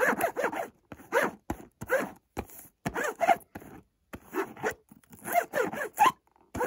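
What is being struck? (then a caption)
Small cardboard box. Fingers scratch and tap the front of a small, hollow white Montblanc cardboard perfume box. The result is a run of dry, rasping scratches and sharp, short taps in quick bursts separated by brief silences.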